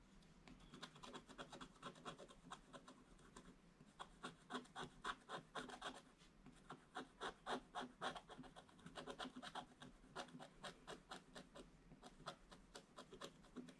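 A wooden stylus scratches small detail areas on a black coated scratch-art paper page. It makes a quiet, rapid series of short, dry scraping strokes, roughly four per second, in uneven bursts with brief pauses. The sound is bright and hissy with little low end.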